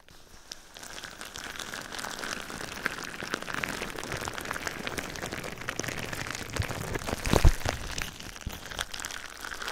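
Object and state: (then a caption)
Plastic bubble wrap. Fingertips press and scratch clear plastic bubble wrap covering a microphone, making a steady stream of dense crinkling and soft crackling. The texture sits mostly low with a faint high hiss, and a louder, sharper pop stands out near the end before the crinkling carries on.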